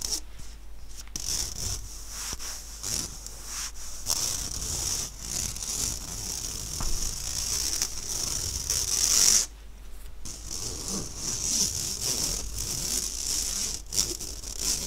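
Fingertips rub and scratch the surface of an empty, round, fine-mesh stainless steel sieve held upright by its handle. The result is a steady, bright, hissy scratching concentrated in the high range, with brief rougher strokes and a short pause near the middle.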